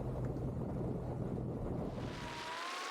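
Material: Nothing is struck.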